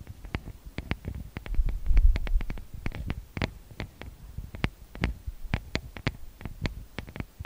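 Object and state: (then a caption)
Fingertips and nails tapping recorder microphone grilles. Fingertips and long manicured nails tap and rub directly on the two metal-grille XY microphone capsules of a handheld TASCAM DR-40X recorder with a plastic body. Quick, irregular taps land as sharp bright clicks over a heavy, deep low-end thump, with a louder rumbling rub in the middle. Each tap dies away almost instantly.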